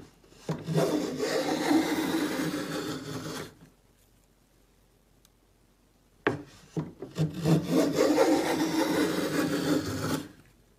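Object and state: Pine board being planed.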